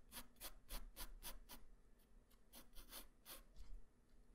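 A graphite pencil tip draws quick strokes across a flat white paper sheet, making about eleven short, bright, scratchy rasps at a brisk, uneven pace. Each stroke stops dry with no ring, over a quiet low hum.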